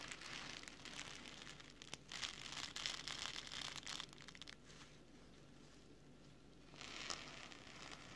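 Fingertips of both hands rub and scratch across the orange nylon mesh pockets and fabric strips of an opened camera filter wallet lying flat on a table. The result is a bright, dense, crinkly scratching that comes in bursts, goes quiet for about two seconds, then picks up again briefly.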